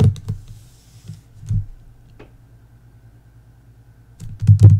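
Long nails tap the lower part of the glossy paper dust jacket on a "Belladonna" hardcover book lying flat. The taps are dull, low, short thunks: a few scattered early ones, then a quiet stretch, then a louder cluster at the end. A faint steady low hum runs underneath throughout.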